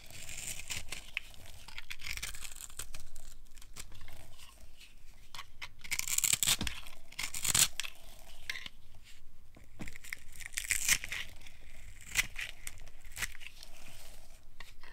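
A solid blue bar of dry soap, held in the palm, is shaved and carved with a flat metal blade, breaking off crumbly flakes. Bright, dry scraping and crisp crunching rasps come in quick strokes, with louder tearing bursts now and then over a quiet low rumble.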